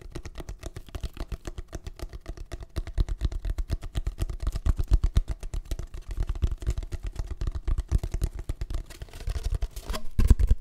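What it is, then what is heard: Cardboard tube. A long, hollow, empty brown cardboard tube is held horizontally over the mic and tapped and scratched along its surface with fingertips and short nails. A quick, uneven stream of soft, hollow, low thumps runs at about four per second, each dying away almost at once, with faint scratchy texture between them. The tapping grows a little louder toward the end.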